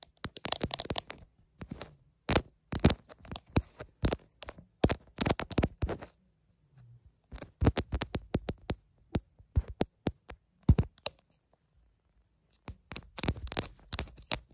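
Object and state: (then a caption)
Smartphone in plastic case. Long nails tap and scratch the plastic back of a smartphone held in both hands, in a clear plastic case with a green bumper. Bursts of sharp clicks and scraping come in clusters, with short quiet pauses between them.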